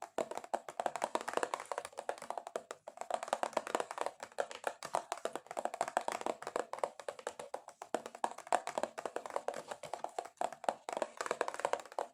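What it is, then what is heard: Cardboard box. Long acrylic nails tap aggressively and rapidly on a cardboard box, with no talking. The result is a dense stream of short, dry, hollow clicks, centred around 700 Hz with a faint bright edge. Each tap dies away almost instantly, in brief bursts separated by slight pauses.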